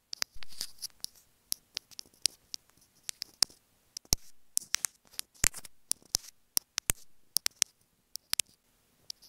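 Fingernails tap and scratch on a small white plastic inline remote microphone of a pair of earphones held in the hand. Sharp, bright, dry clicks come in an irregular series, broken up by short hissing scratch swells that stay mostly in the high range with little low-end weight.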